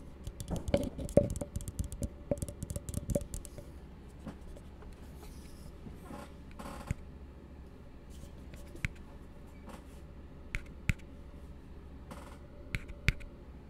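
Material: Plastic.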